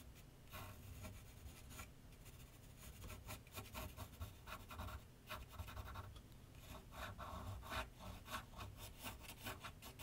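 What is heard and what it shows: A graphite pencil scratches sketch lines across a large flat sheet of white paper on a board on an easel. Quick, dry scratching strokes come in short bright bursts over a steady low rumble, sounding like rubbing or filing.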